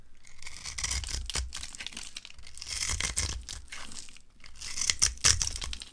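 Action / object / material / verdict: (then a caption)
scrape / bar of soap cut with a blade / soap / none. A utility cutter blade scrapes and carves a hand-sized solid bar of dry green soap, held in the hand, into crumbly cubes. Continuous crisp, bright scraping and crunching is heard, with short tearing crackles and a low thudding undertone, getting louder near the end.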